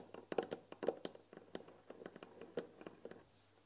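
Fingertips and nails tap along the front panel and top edge of a white painted wooden tea box holding tea packets. A quick, irregular run of light, dry taps with a hollow mid-pitched knock and bright nail clicks dies away almost instantly. The tapping is quiet and close, fading out near the end.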